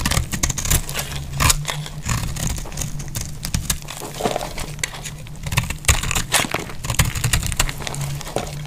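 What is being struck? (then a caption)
Bar of soap scraped with a metal blade. A metal blade scrapes curls off the edge of a solid bar of dry green soap held in the hand. Repeated dry, crackling scrapes come in bright bursts over a steady low hum.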